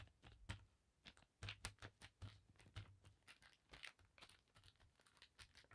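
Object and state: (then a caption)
Cotton bandana. Long dark nails scratch and tap across a thin navy blue paisley cotton bandana spread flat on a table, using both hands. The result is a quiet, rapid run of short, dry scratches and soft taps, each with a bright, crinkly hiss over a dull low thump, dying away almost instantly.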